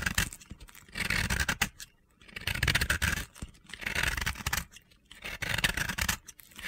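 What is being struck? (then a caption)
Soap chunk scraped with a knife blade. A utility knife blade carves and scrapes a small, solid, crumbly chunk of dry, powdery pink and yellow soap held in the fingers. It makes bursts of dry, gritty scraping and crunching with short pauses between strokes. The soap is worn down into powder.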